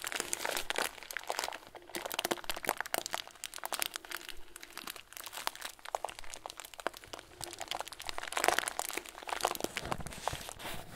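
A clear plastic bag full of tiny white foam beads is squeezed and crinkled with both hands. It makes a steady stream of dense, bright crinkling and crunching with short, crisp crackles. A louder burst of crackling comes at about 8.5 seconds.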